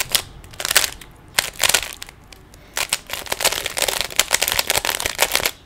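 Fingers quickly twist the layers of a small, solid plastic 3x3 Rubik's cube. Bursts of bright, crackly plastic clicks and rattles come in quick flurries with short pauses, then run almost continuously toward the end. The clicks are dry and brief, with very little low end.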